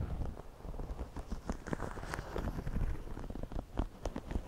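Fingertips and nails scratch the woven crown and brim of a white wide-brim woven straw floppy hat worn on the head, using quick repeated strokes. A steady, dense crackling rustle with a heavy low rumble is heard, dotted with short, sharp scratchy ticks that flare up bright.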